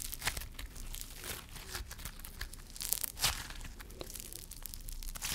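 Yellow crunchy foam-bead slime (floam) is stretched and squeezed with fingers and palm, its foam beads crushing. The result is a continuous stream of bright, dry crackling and crinkling with brief louder crunches over a low rumble.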